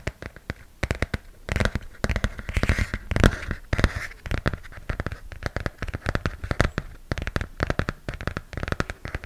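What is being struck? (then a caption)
Glossy hardcover comic book cover. Fingernails scratch and tap on the glossy cover of a hardcover comic book held close to the mic. Dense, irregular dry clicks and taps carry a soft low thump, with a few brief scratchy rustling stretches around the second to fourth seconds. Each tap dies away almost instantly.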